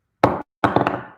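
A hard Mini Logo 101a urethane skateboard wheel is knocked on to test its hardness: a short, dry knock is followed by a quick run of knocks that rattle and fade. The knocks carry a hollow, woody tone around 290 Hz with little ring, and the wheel sounds hard.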